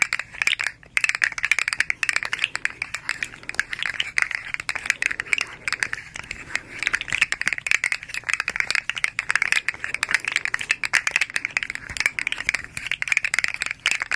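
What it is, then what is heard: Plastic articulated fidget toy. A hand-sized striped articulated slug fidget toy made of hard plastic segments is curled and straightened between both hands. Its segments rattle and click against each other in a fast, continuous stream of short, dry ticks for the whole clip. The sound is bright and crisp, centred near 2.4 kHz with almost no low end.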